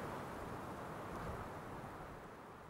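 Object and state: Nothing is struck.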